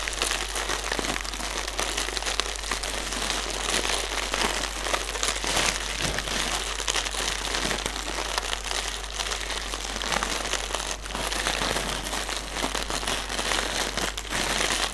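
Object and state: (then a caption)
Plastic air pillow packaging. A single inflated plastic air pillow used as packaging, hollow and air-filled, is tapped and scratched with fingertips and nails. It makes a steady, dense crinkling and scratching with bright, hissy texture and soft, rapid taps throughout.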